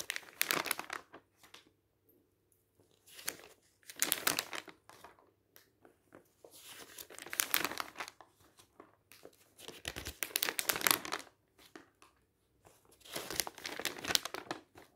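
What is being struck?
Glossy paper magazine.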